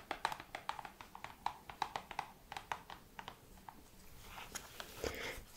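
Long red nails tap and scratch across the front of a small, flat, hollow printed cardboard box, a The 7 Virtues Peace Perfume Discovery Set, held up in the air. About two dozen quick, crisp, hollow clicks ring in the midrange and die out almost instantly. They give way to a softer, brighter scratching rustle near the end.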